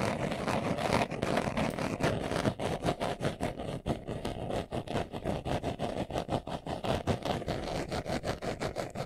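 Fingernails scratch fast across the front of a small, hollow, brown pebbled leather glasses case held in the hands. The result is a steady run of quick, rough scratching strokes with a dry, hollow rasp and a low body beneath.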